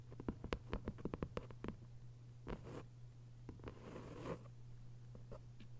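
Long white nails tap and scratch on the paper dust jacket of a thick hardcover novel. A quick run of soft, dry taps gives way to brushing scratches across the cover, followed by a few scattered taps, all over a steady low hum.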